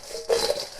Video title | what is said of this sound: Homemade Hand-Cut French Fries - Double Fried | You can hear how crispy they are.